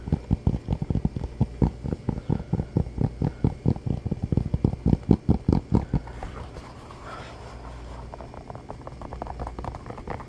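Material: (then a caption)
Foam rubber. Fingertips and nails tap and scratch fast on the sole and upper of an orange Croc-style clog, a hollow shoe of molded foam with holes. For about six seconds, rapid, dull, low-pitched taps come in an uneven rhythm. They give way to a softer, continuous scratching rustle.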